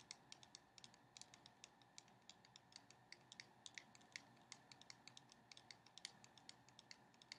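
Long painted nails tap a small, sealed cardboard box of playing cards, white with a red printed front, held upright in the hands. About 46 quick, dry, bright clicks sound in an irregular, typing-like rhythm, each dying almost instantly. Behind them is a faint steady hiss and very little low end.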